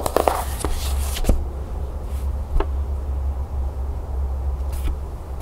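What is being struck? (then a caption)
Cloth-bound hardcover book. Long green-painted nails tap and scratch the cover of a small, closed hardcover book with a tan cloth/paper cover and a cherry blossom label, lying flat on a wooden table. A few sharp, quick taps and soft scratching with brief bright edges sit over a steady low hum.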